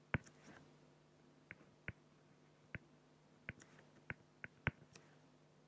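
A felt-tip pen makes short strokes on a flat, clear acrylic plexiglass sheet, scratching across the plastic surface. The result is a series of sharp, dry clicks and scrapes that die away almost instantly, with faint high hissy strokes between them. A steady low hum runs underneath.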